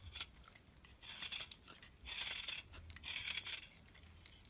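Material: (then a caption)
Soap. A solid piece of cream bar soap, held in the fingers, is cut and scraped with a metal utility blade, shedding crumbly chips. Bright, crisp scratching and crackling comes in short ticks and longer scraping passes, with almost no low end. Quiet pauses fall between the passes.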